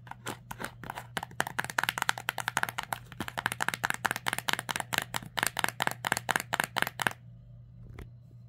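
Long nails rapidly tap and scratch the flat printed face of a small, closed, pink illustrated cardboard box held on fabric, making a dense run of crisp, dry clicks and brief scrapes. The tapping stops after about seven seconds, leaving a faint steady low hum.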